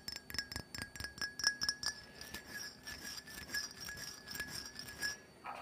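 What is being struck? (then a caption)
Small filled glass perfume bottle. Fingernails rapidly tap and scratch the base and sides of a small, filled glass perfume bottle coated in black glitter. Quick, bright glassy clicks with a faint high ring come first, then blend into a quieter, continuous scratchy rustle.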